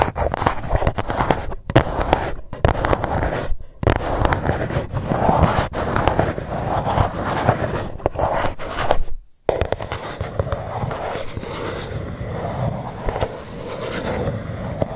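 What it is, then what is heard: Cardboard gift box. Long nails on both hands scratch the lid of a dark GUCCI cardboard box, producing a steady, dense scraping with many quick scratchy strokes. Brief silent gaps break it up, the longest just after nine seconds, and the scratching continues a little quieter and smoother afterward.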